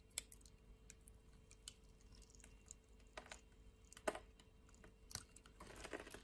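A utility knife blade scrapes across a solid, dry purple soap bar held in hand and cuts grid cubes off its surface. Soft, crisp scraping and sharp clicking cuts come in scattered bursts, with a bright, fuller rasp near the end.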